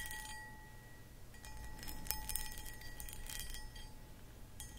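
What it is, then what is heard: Cut crystal footed bowl scratched with nails. Long acrylic nails scratch the textured sides of a medium, hollow, empty cut crystal footed pedestal bowl. Soft, bright scratching bursts rise and fall over a steady faint glassy ring near 850 Hz with a higher overtone. The overall sound stays quiet and gently chiming.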